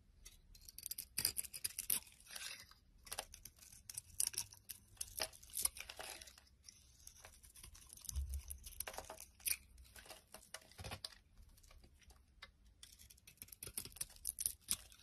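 A utility knife blade shaves and scrapes curls off a palm-sized solid blue bar of soap with a white interior, held in one hand. The clip is full of quick, dry, bright scraping and crisp tearing strokes in irregular bursts. A few soft low thumps sit underneath, and the overall level stays quiet.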